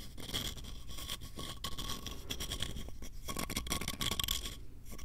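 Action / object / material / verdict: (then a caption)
scrape / small wooden box / wood / none. Fingernails scratch quickly along the ridges and edges of a small, hollow, light-wood box with ridged edges, held close to the microphone. The result is a dense, continuous stream of dry, rasping scrapes with a bright, steady tone around 3 kHz and a low rumble underneath.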